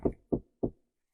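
Three short, dull knocks on an interior trim panel, each a low-mid thud that dies away almost at once with no high ring. The panel sounds solid rather than hollow.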